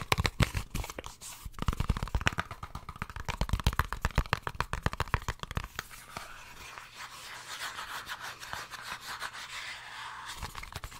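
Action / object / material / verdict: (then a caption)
tap / small cardboard earphone box / cardboard / none. Fingertips and painted nails tap and scratch the surfaces of a small, hollow, white and blue printed cardboard earphone box held in both hands. For the first half there are rapid, dry, hollow taps with a low body, then the sound shifts to a softer, steady, bright scratching rustle.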